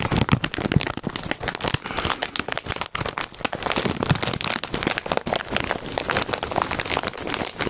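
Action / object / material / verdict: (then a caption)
scrape / foil-lined plastic chip bag / foil-lined plastic / none. A foil-lined plastic Cheetos chip bag is held by its side seam while fingertips crinkle and scratch it. This produces a dense, continuous stream of sharp crackles and rustles across the whole clip, spanning low thumps to bright, hissy highs. Each crinkle dies away almost instantly.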